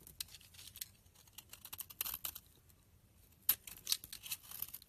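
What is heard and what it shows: A utility knife blade scrapes and cuts flakes off the edge of a rancid, solid pink bar of soap with embossed lettering, held in a hand with long dark nails. Quiet, bright, dry scraping and crisp crackling cuts come in an irregular string, with a sharper, louder snap partway through. Each cut stops almost at once with no ring.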